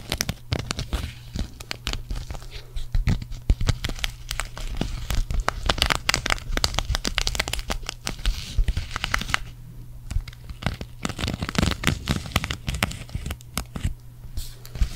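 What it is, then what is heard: Sequin fabric patch. Long acrylic nails scratch across the sequins of a green sequin cactus patch held up in both hands, making a dense stream of quick, dry, crinkly clicks and scratches. The clicks are bright and crackling, running continuously with brief quieter gaps, over a steady low hum.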